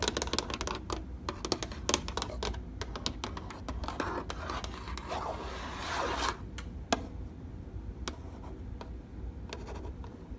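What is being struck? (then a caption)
Plastic treadmill control panel. Fingernails and fingertips tap and rub a plastic treadmill control panel with an LCD display, giving a rapid run of sharp, bright clicks. Around the middle, a hissing scratchy rub swells, then sparse single taps return. A steady low hum sits underneath throughout.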